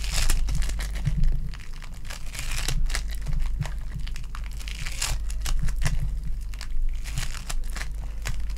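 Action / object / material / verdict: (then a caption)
scrape / foam bead clay ball / foam bead clay / none. A lilac foam bead clay ball is pressed, stretched and squished between the fingers and nails of both hands. It makes a dense, continuous crinkling and crackling with bright, sticky pops over a steady low hum.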